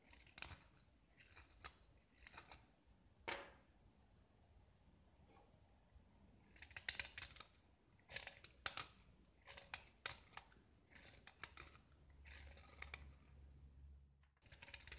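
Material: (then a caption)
Gypsum. A small solid gypsum tile, white with pink paint remnants and held in the fingers, is scraped and carved with a metal utility knife blade. Bright, dry scratching strokes come in short bursts separated by quiet pauses, with a faint low hum toward the end.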